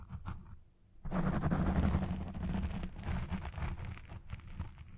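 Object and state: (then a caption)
Foam microphone windscreen being scratched. Long red nails scratch the side and base of a black foam windscreen on a Blue Yeti Pro microphone. After a faint, sparse first second, a dense, continuous scratching and crinkling rustle sets in, heavy in the low end with a muffled, close sound. The scratching continues to the end, swelling and easing slightly.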